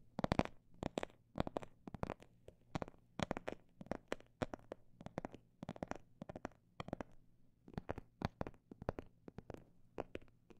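Fingertips tap on a phone bag made of imitation snake skin in quick bursts and slower single taps. Each tap is a short, dry click that dies away almost at once, over a faint steady low hum.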